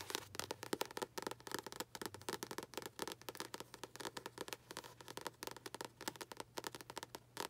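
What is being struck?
Paperback book with glossy card cover.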